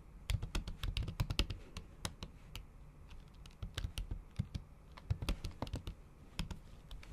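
The tips of long acrylic nails type in fast repeated taps on a MacBook keyboard whose solid keys sit under a thin pink patterned plastic/silicone cover. The result is a quick, uneven run of short, dull, low-heavy clicks with bright, sharp ticks on top, each dying away almost instantly.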